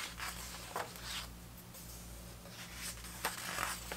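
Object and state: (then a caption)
Paper pages of a hardcover book. Hands turn the thick paper photo pages of an open vintage hardcover book about 1970s soccer, and fingers brush across their surface. Soft, airy swishes and rustles rise and fade over a steady low hum, with three sharper crisp flicks as the pages move.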